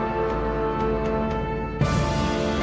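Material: Nothing is struck.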